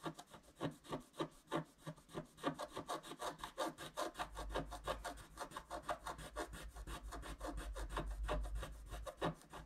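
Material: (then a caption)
Wax-coated paper. A wooden stylus scrapes dense back-and-forth strokes across a flat scratch-art card of wax-coated paper, working on the left tree trunk while one hand holds the card. Quick, slightly uneven scratchy rasps repeat at about three per second, each short and dry with a papery hiss. A low steady hum sits underneath from the midpoint on.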